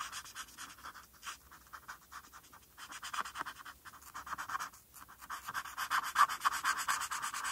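A felt-tip marker scratches over a flat white paper coloring sheet in short strokes, colouring in the letters. Dry, papery scratches with a bright hiss come in an irregular rhythm of about two strokes per second, centred around 1 kHz with no low end. The strokes grow louder and denser toward the end.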